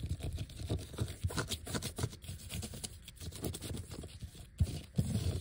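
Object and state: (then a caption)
Vinyl letter sticker sheet. Fingertips and nails scratch and tap across a large, flat, thin, solid black glossy vinyl sheet covered in white letter stickers. The result is a steady stream of soft, dry scratches and light low taps with short crisp edges and no ring. Two louder taps stand out near the end.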